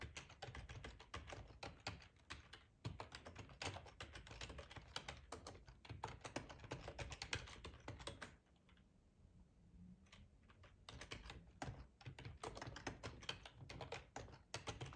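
Fingertips of both hands type on a black plastic ergonomic split computer keyboard with a hollow housing, lying on a tablecloth. The result is a dense stream of quick, bright key clicks over a low, hollow thump. The typing thins to a few scattered taps for a few seconds in the middle before resuming at full pace.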